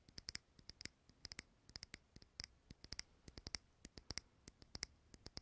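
Fingernails tap and scratch a small clear glass jar candle with green wax, held close to the mic. About thirty quick, dry, bright clicks come in uneven bursts, each dying out almost instantly, with a faint scratching between them.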